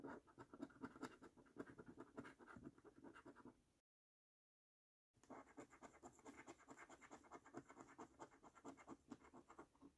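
A coin scrapes the latex coating off a flat, thin paper cardboard scratch card held down by the fingers of one hand, in rapid short scratches. Dense, dry scraping bursts with a midrange body and a thin high edge run continuously, break off into complete silence for about a second, then resume at the same brisk pace.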